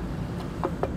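Two knuckle knocks on the plastic aero wheel cover of a 2025 Jaecoo J7 PHEV give short, hollow taps around 400 Hz that die away quickly over a low background hum. The plastic cover is there to reduce drag for better EV efficiency.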